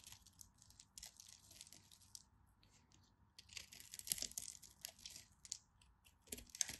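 A utility knife blade carves and scrapes small cubes and chips off a green and white striped solid bar of soap, and the pieces pile up. The sound is a quiet run of crisp, bright scraping and crumbly crunching, with sharp clicks that stand out as the chips break away and fall.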